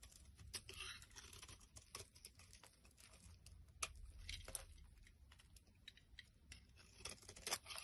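A black flat blade scrapes and chips flakes off the top of a solid pink soap bar held in the hand. The sound is a quiet series of short, crisp scratches and dry crackles with a bright edge and very little ring, over a faint low rumble.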